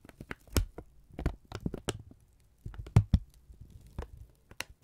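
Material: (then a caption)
Paper. A thin strip of brown kraft paper, held in both hands, is pinched and folded with the fingertips. It gives off a run of short, dry crinkles and soft taps, some pausing and then coming in quick clusters. Each snap dies almost at once.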